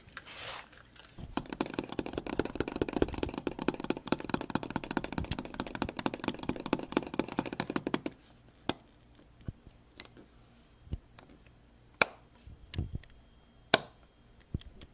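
Fingertips tap and knock the buttons of a small grey plastic double light-switch plate on a wall, with the microphone held close. A dense run of rapid, dry clicking taps lasts several seconds, then gives way to scattered single knocks separated by quiet pauses. Each hit is short and sharp with almost no ring.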